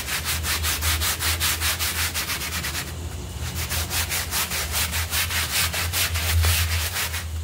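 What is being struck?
Wet synthetic pile carpet scrubbed with a bristle brush.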